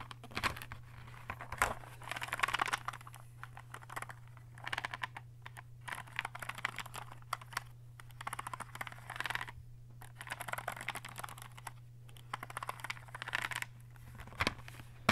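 Fingertips tap and flick along the row of plastic caps on 20 colored fineliner pens held in a clear plastic case lying on a table. Quick, light plastic clicks and ticks come in bursts of rapid tapping, with brief pauses between, over a steady low hum.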